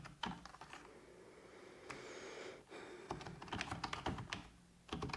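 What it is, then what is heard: Plastic computer keyboard. Fingertips with long red-painted nails tap rapidly on a full-size black plastic computer keyboard resting on a wooden desk. Bursts of sharp, clicky keystrokes with bright, short transients are broken by a quieter pause in the middle before the quick typing resumes.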